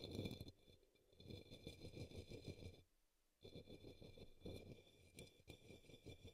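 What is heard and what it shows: A brush sweeps across the base of an upside-down, hollow, empty pink opaque plastic cup or small bowl resting on a green towel. Quick, soft scratchy strokes come in dense bursts with a brief pause partway through, while a faint steady high tone hums in the background throughout.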